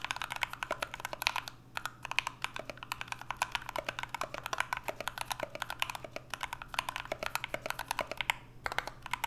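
Two hands type continuously with their fingertips on a 65% mechanical keyboard with an aluminum case, PBT keycaps and Everglide Aqua King switches. The keystrokes are rapid, short and crisp, with a bright clack and almost no ring. A few brief pauses break the otherwise steady stream, and a faint low hum sits underneath.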